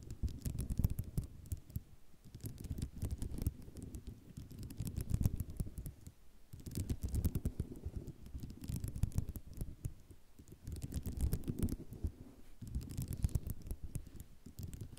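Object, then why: Sheet of ceramic mosaic tiles. Long nails scratch and tap across a flat sheet of white ceramic mosaic tiles, producing dense, rapid clicky ticks over a low, rumbling scrape. The sound comes in bursts of a couple of seconds, separated by brief quieter gaps.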